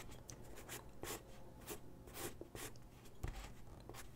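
A graphite pencil sketches on a single white sheet of drawing paper resting on a wooden desk, making quiet, dry scratching strokes. Brief bright bursts of pencil rasp rise over a steady low hum.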